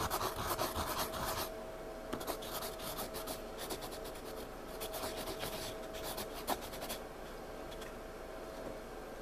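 A pencil scratches and shades on the page of a spiral-bound paper sketchpad lying flat, then fingertips rub the shaded area. A dense, bright scratching opens the clip, then gives way to softer, irregular bursts of rubbing strokes with one brief sharper tick near the end. A faint steady tone runs underneath throughout.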